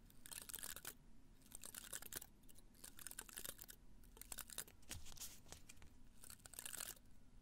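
Fingernails scratch and brush across the spiny surface of a small cactus in a red-brown pot tilted toward the mic. Quick bursts of dry, bright, crackly scratching and crinkling rise and fall over a steady low rumble, with short quiet gaps between the strokes.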